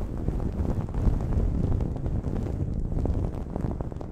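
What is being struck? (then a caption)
Cotton terry towel over a microphone. Long nails scratch a blue cotton terry cloth towel draped over a microphone. The result is a steady, muffled, low rumbling scrape with dense bursts of soft crackle and almost no bright top end.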